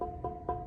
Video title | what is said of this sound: Why My Heater Won't Stay Lit in My RV (Part 1) | this one's getting light you can hear it when you knock